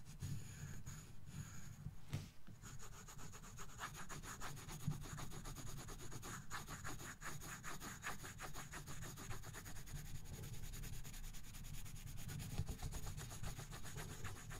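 A colored pencil rubs back and forth across a thin paper coloring book page resting on a box, shading continuously. The result is a steady, soft scratchy rubbing with a low, muffled body and a faint high hiss. The strokes repeat fast and unevenly for the whole clip.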